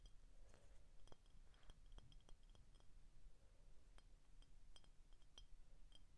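Short painted fingernails tap the body of an empty, hollow clear glass soda bottle with a label on the back. The result is a quiet series of quick, light clinks with a thin bright ring that dies away almost at once, over a soft low hum.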